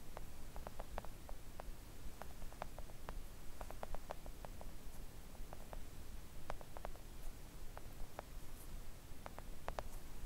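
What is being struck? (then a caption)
Silicone nail art mat tapped with long nails. Long acrylic nails on both hands gently tap a thin, solid, flat pink silicone nail art mat resting on a table. Soft, brief clicks with very short decay come in quick irregular clusters over a steady low rumble, the overall level staying quiet and even.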